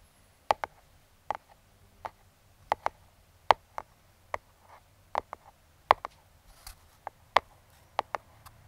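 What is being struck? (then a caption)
Small closed cardboard box tapped with metal fingertip picks. Metal claw fingertip picks tap and trace the top of a small, closed brown kraft cardboard box. About eighteen sharp, dry clicks sound in loose pairs and singles, each with a hollow mid-pitched knock and almost no ring, with faint scratchy tracing between them over a quiet background.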